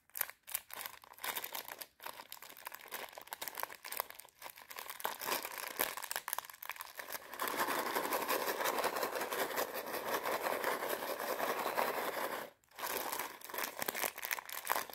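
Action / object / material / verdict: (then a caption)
scrape / plastic bag of popcorn kernels / plastic / none. Long red nails crinkle and scratch a small clear plastic bag full of popcorn kernels while it is held and moved about. Crisp, bright rustling and scratching comes in quick, uneven bursts with short gaps. A denser, steady crinkling runs from about 7.5 to 12.5 seconds, then breaks off briefly before the scratching resumes.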